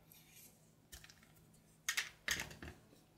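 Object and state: Soap bar being cut.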